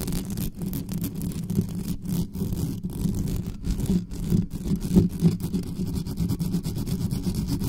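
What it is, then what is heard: Metal mesh microphone grille scratched. Long natural nails of both hands scratch fast over the hollow metal mesh grille of a black condenser microphone. The result is a dense, continuous, low-heavy rumbling scrape with a rapid rustling texture, broken by brief dropouts and a few louder bursts.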